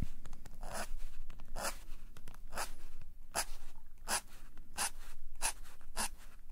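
A metal calligraphy nib is dragged in drawing strokes across a flat black sketchbook page resting on a table. The nib gives repeated bright, scratchy bursts over a steady low hum.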